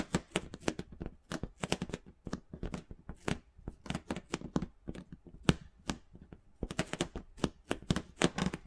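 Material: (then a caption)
Rubber. A large pink inflated rubber or vinyl ball, hollow and about 20 cm across, is held against the microphone and scratched and rubbed with the fingertips and nails. The result is a rapid, uneven series of short, dry scratching strokes, each a brief broadband burst with a soft low body, stopping almost instantly with no ring. The close, muffled scraping continues steadily throughout.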